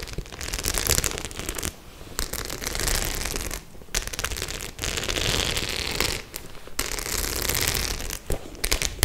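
Long nails rub and scratch over the metal studs of a white, medium-size faux-leather clutch bag that appears empty and soft. The result is a dense, bright, crackling scratch with a low rumble underneath, coming in sustained bursts separated by brief pauses.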